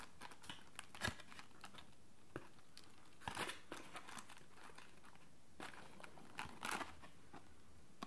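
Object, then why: Printed cardboard tea bag box. A yellow Lipton "Big Pack" tea box of printed cardboard, hollow, partly empty and with its lid open, is held in one hand and tapped and handled with the fingertips of the other. Quiet, dry crinkling and soft papery clicks are scattered throughout, with a few sharper bright taps standing out above a low, steady background.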